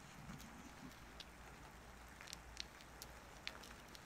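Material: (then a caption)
Soap. A solid bar of soap, held down on paper, is shaved and carved with a wooden-handled carving knife, and the shavings fall onto the paper. Soft, quiet scraping runs under a steady low hiss, broken by sparse, short, bright clicks as the blade bites into the soap.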